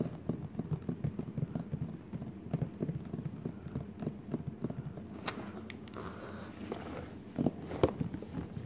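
Fingertips and short nails scratch and rub across the glossy printed cardboard lid of a flat, hollow Crayola art case lying closed on the floor. The result is a quiet, dense, low-pitched rustling scrape, with a few sharper ticks near the end.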